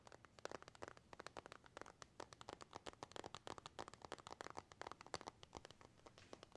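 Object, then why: Glass and metal smartphone. A glass and metal iPhone is tapped and scratched with a thin white stylus and fingertips, producing a rapid, uneven run of quiet, sharp clicks and scratchy ticks. Each tap dies away almost instantly, with a faint crinkly texture between the hits.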